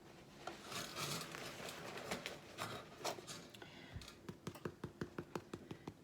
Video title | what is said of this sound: Homemade French Bread | hear how it sounds Hollow that's what you want